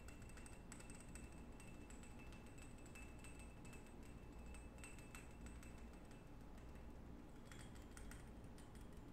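A small, ornate, textured glass perfume bottle with a gold cap is held in both hands while fingertips and short nails rapidly tap and scratch its patterned glass surface. The sound is quiet and continuous: quick, sharp clicks and scrapes with faint bright glassy ringing, all over a steady low hum.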